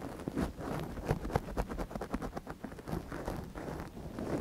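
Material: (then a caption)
Silicone. A gloved hand scratches inside the canal of a small, hollow white silicone dummy ear on a binaural microphone with a thin wooden ear pick. Close, rustly scraping and soft scratchy taps come in quick strokes, heavy in the low end with little brightness.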